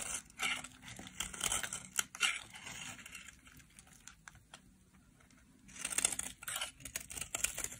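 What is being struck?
Soap bar shaved with a metal blade.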